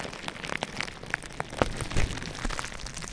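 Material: Plastic.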